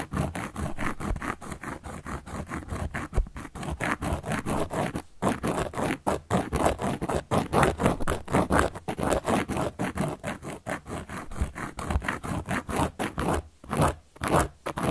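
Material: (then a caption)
Cork. The tip of a carving tool is scratched across the surface of a large, round, solid cork board held in place by long yellow nails. It makes a rapid, uneven run of dry, rasping strokes, with brief pauses around the fifth second and near the end. Each stroke is short with no ring.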